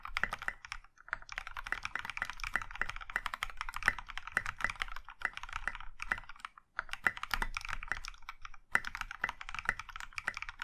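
Both hands type steadily with their fingertips on a compact Iron165 mechanical keyboard in a maroon metal case with dark grey and pink plastic keycaps. The keystrokes are quick and crisp, clacking brightly with a short, dry decay. The run of typing is broken by brief pauses near 1, 6.7 and 8.7 seconds.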